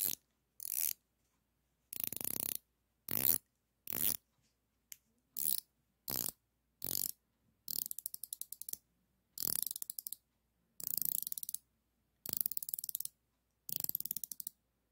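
A chrome-plated, solid steel flex-head ratcheting combination wrench is held in the fingers while its ratchet head is rotated and flexed, with other wrenches resting on a cloth nearby. Short bursts of rapid, bright, dry ratchet clicks are separated by brief silences. The clicks have almost no low end and no ring.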